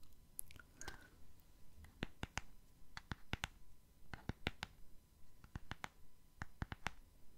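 A small, hollow purple gift box printed with hearts and a Tweety picture, likely rigid cardboard, is held in one hand and tapped with fingernails on its face and edges. About twenty quiet, sharp clicks come at an irregular pace, each with a bright top and a dull, hollow low thud that dies away almost at once.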